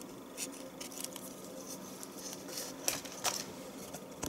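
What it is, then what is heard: Bar of household soap being shaved. A knife shaves the top edge of a solid rectangular yellow bar of household soap, sending flakes into the tub. Quiet, crisp, bright scraping strokes repeat unevenly, with a few sharper ticks standing out near the end.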